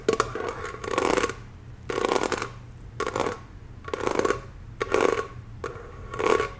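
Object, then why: Thin metal candle jar lid. A round, hollow, thin-walled copper-toned metal lid embossed "BELOVED" on a jar candle is tapped with long acrylic nails. Quick flurries of light, woody clicks come in six short bursts separated by brief pauses, each with a hollow midrange tone and a bright tick on top. The lid gives almost no ring after each tap.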